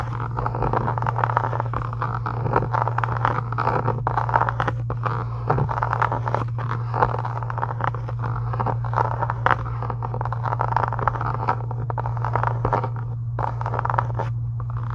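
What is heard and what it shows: Long nails scratch and tap across a pink embossed faux leather book cover lying on a table. The result is a dense, crackly scraping with quick, dry taps mixed in, over a steady low hum throughout.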